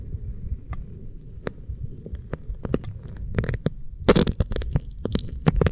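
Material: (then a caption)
Silicone. Fingertips and nails rub and scratch an oiled pink silicone ear microphone and its base. A low, muffled rubbing rumble runs throughout, broken by irregular sharp, bright scratches and clicks that grow denser and louder toward the end.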